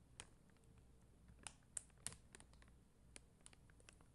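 Long dark-green nails tap a flat sheet of red and clear faceted plastic rhinestone stickers on white backing. Quiet, sharp, bright clicks land at uneven intervals and stop dead with no ring. A soft low background rumble runs underneath.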